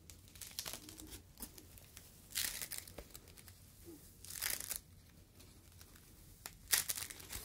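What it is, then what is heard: Foam fruit protective net. A yellow foam fruit protective net, a mesh sleeve, is squeezed and crumpled with fingertips, giving bright, dry crinkling and crackling. Three louder bursts of dense crinkle stand out against quieter scattered crackles and soft rustles, with a faint low hum underneath.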